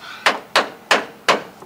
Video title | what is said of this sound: How To Paint A Car By Yourself-Part 1 | I don't hear no Bondo.